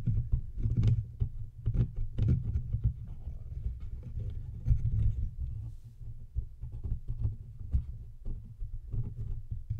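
Fingertips and nails of both hands tap and scratch the sides and front of a large studio microphone's hollow, cylindrical silver metal body with knobs. The result is a continuous run of dense, deep thumping and rubbing with frequent soft knocks, almost all of it low and boomy with very little brightness.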